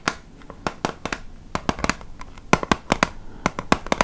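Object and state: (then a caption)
Plastic makeup palette, tapped with nails. A small, flat, hollow plastic makeup compact holding six highlighter pans, with a clear lid and black base, is held in the hands and tapped and scratched with long painted nails. Around nineteen sharp, dry plastic clicks and taps ring off almost instantly, with soft scratching between them over a quiet background.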